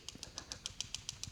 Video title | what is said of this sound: GM TCC Solenoid Failure Symptoms & Teardown Post Mortem Inspection (200-4R, 700R4, 200C) | I have to shake it vigorously to get it to clack